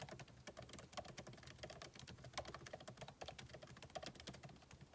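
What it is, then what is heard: Laptop keyboard being typed on. Fingertips type steadily on a backlit MacBook Pro keyboard, plastic keycaps set in an aluminum body. Quiet, rapid key taps follow one another without pause, each a short, dry click with a mid-range knock and a bright edge that dies away almost at once, a few landing slightly harder than the rest.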